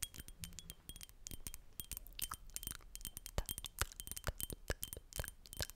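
Long nails tap rapidly and irregularly on the glass body of a Chanel Allure Homme Sport perfume bottle, a thick rectangular glass bottle with a black and silver cap held in one hand. Each tap gives a short, bright clink with a faint high ring over a soft low background.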